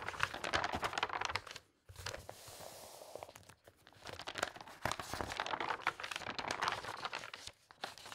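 Fingertips with long red nails quickly turn and flip the thin glossy pages of a large open interior design magazine lying flat on a fabric tablecloth. Dense bursts of crisp, bright paper rustling and crinkling break off into a short silence, then a smoother sliding swish, and rapid snapping flicks return until the end.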